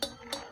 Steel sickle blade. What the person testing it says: dipukul-pukul kalau suara nyaring Ting Ting